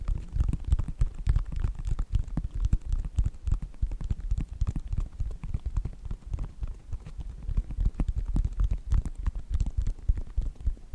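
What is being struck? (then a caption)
Synthetic leather sneaker upper. Fingertips and nails tap and scratch the sides of a white Nike sneaker with a synthetic leather upper. The result is a dense, irregular stream of soft, dry thumps, roughly three per second, heavy in the low end and dying away almost instantly, with faint bright scratchy clicks on top.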